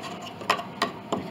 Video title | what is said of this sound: Chickering 33B 1867 Conservative Restoration Part 4 | this pin block this all has separations down inside